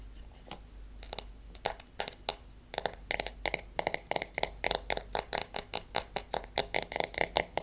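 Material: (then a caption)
Wood. Fingernails tap on the wooden handle and back of a hairbrush with wooden pins. The taps come sparse at first, then speed into a quick, steady run of short, dry clicks with a bright top and a hollow woody tone around 840 Hz. A faint low hum sits underneath throughout.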